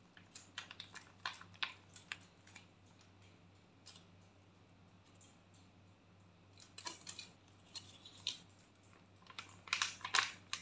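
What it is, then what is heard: Foil sheet mask packet. A foil face mask sachet is held and crinkled by hand and tapped with nails, giving quiet, irregular bursts of bright crinkling and sharp clicking taps. The sounds cluster at the start and end with a quieter stretch in the middle, over a steady low hum.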